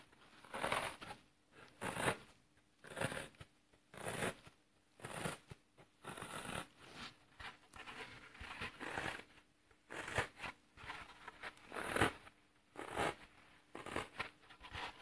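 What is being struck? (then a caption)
Floral foam block. Fingertips press and crush the brittle edges and face of a dented, solid green floral foam block held in the hand. Short, dry crunching and crackling bursts come roughly once a second at an uneven pace, each one a bright, broadband crumble that stops quickly into near silence.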